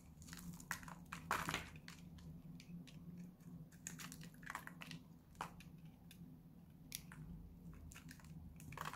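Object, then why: Bar soap scraped with a metal blade. A solid purple bar of dry soap, held in the hand, is cut and scraped with a metal utility-knife blade. Short, bright, crisp crunching and scraping clicks come in quick irregular bursts over a low, steady background hum, with a louder crunchy scrape early on.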